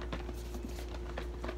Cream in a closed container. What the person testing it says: doesn't just sound like liquid anymore